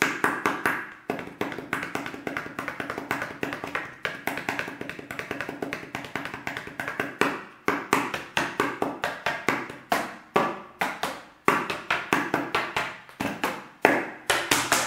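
A large, clear plastic water bottle with a white cap and red label, hollow and apparently empty, is held sideways in one hand and tapped with the fingertips of the other. Quick, irregular bursts of hollow, knocking taps follow one another, each with a low-mid body and a bright click. Every tap dies away almost at once.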